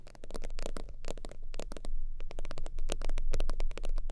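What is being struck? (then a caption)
Synthetic-leather zip wallet. Long acrylic nails tap and scratch the soft top of an iridescent holographic faux-leather zip wallet resting on a fur blanket. Quick, uneven taps and scratchy strokes come in dense bursts, each a bright crisp click over a steady deep low rumble, and the sound stays fairly constant throughout.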